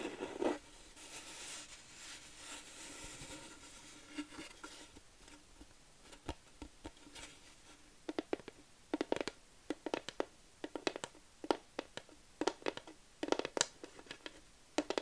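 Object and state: Wooden plaque tapped with nails.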